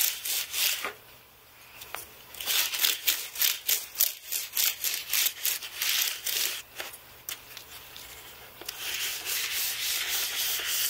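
A black carbon-bristle brush is swept and rubbed across the plastic keys of a white aluminium-framed computer keyboard. It makes a bright, dry sanding and brushing sound in quick, irregular strokes, with a fainter stretch in the middle and a steadier rub toward the end.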